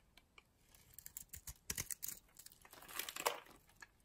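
A metal blade scrapes and shaves a solid teal bar of soap with a white interior, held in the palm. The result is a quiet run of short, crisp scraping and crackling strokes with a bright, crinkly texture and little low end.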